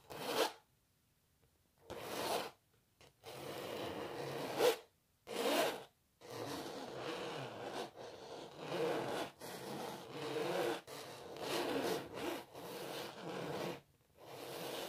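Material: Canvas.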